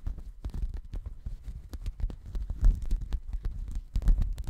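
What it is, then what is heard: Woven fabric mat. Fingers scratch and rub a checkered woven textile mat held close to the microphone. The result is a steady, uneven stream of soft, low, rumbling scrapes, broken by sharp, brief, bright ticks. A few louder scratches stand out near the middle and the end.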